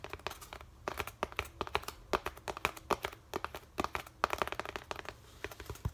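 Fingertips and nails tap and scratch a white molded polystyrene foam packaging insert held up in the air. A rapid, uneven run of dry, clicky taps with crinkly scratching between them, bright and light with little low end. Each tap stops almost instantly, with no ring.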